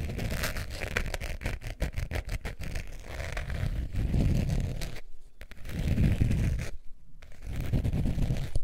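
Long painted nails scratch across a long beige zip-around wallet of textured faux leather with a metal zipper, held hollow and upright above fur. The result is a steady, low, rumbling scrape with rapid scratchy texture, briefly thinning out twice before building back up.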